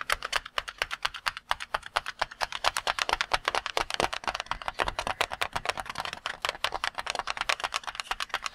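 A red and cream water-filled latex balloon, held in both hands, is rapidly tapped with the fingertips. The result is a quick, uneven stream of dozens of short, dry taps with a bright, clicky edge and almost no low end, each tap dying away instantly.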